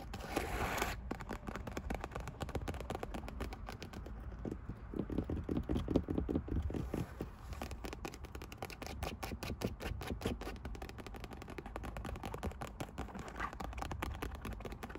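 Long white acrylic nails scratch and tap across a soft, cushioned center console armrest with a black synthetic leather cover in a carbon-fiber pattern and a printed logo. The result is a steady stream of quick, dull, muffled taps mixed with scratchy rubbing, low and soft, with almost no ring after each tap.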